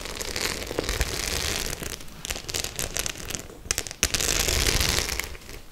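Long nails scratch and tap the metal studs on a white faux leather clutch held in both hands. The result is a dense, bright crackling and scraping, broken by sharp clicky taps and a few brief pauses, with a faint low rumble underneath.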